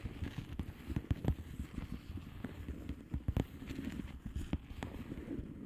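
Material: Plastic.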